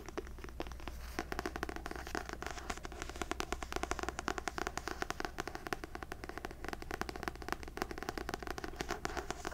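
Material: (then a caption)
Paper. Long nails rapidly tap and scratch the glossy paper cover of a paperback novel, "The Wife Upstairs," which is held upright. The result is a dense run of quick, dry clicks and crackly scrapes over a steady low hum.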